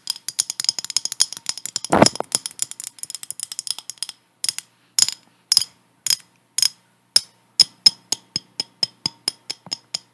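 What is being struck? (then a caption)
Glass jar with metal lid. Long acrylic nails tap and scratch a clear, hand-sized glass mason jar with a metal lid, apparently empty, while it is held and tilted. Quick bright clicks come in a dense flurry at first, with a fuller scratching burst near the two-second mark, then settle into sharper, evenly spaced taps. Each tap is high and glassy with almost no ring.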